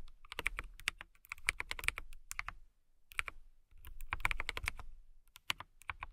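Typing on a compact KiiBOOM Phantom 81 mechanical keyboard with a transparent acrylic case and clear plastic keycaps, RGB lit, struck with long manicured nails and fingertips. Bright, quick clacks come in bursts separated by short pauses, each keystroke dying almost instantly over a low thump beneath.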